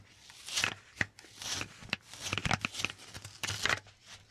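Fingertips tap and grab the sticky paper surface of a handheld lint roller, a white sticky paper roll on a grey plastic handle held sideways close to the mic. Sharp, bright ticks and crackly peeling bursts come in uneven clusters with quiet gaps between them. Each sound stops almost instantly with no ring.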